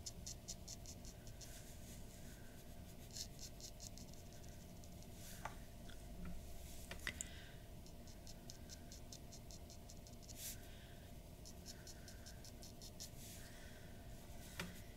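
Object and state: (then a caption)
Pen nib scratching on paper. A glass dip pen nib scratches small stippling dots and short strokes around the nose of a drawing on a white paper sheet resting on a wooden desk. Quiet, rapid, bright ticking scratches come in clusters over a steady low hum, with a few slightly sharper strokes along the way.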